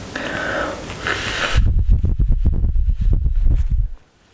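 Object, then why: Fabric cosmetic bag. Long nails scratch and rub the surface of a black embroidered polyester-type fabric toiletry bag with contents inside, resting on a table. A brighter, hissy scratching is followed by a rapid run of dull, low rubbing scuffs that stop abruptly, leaving near silence.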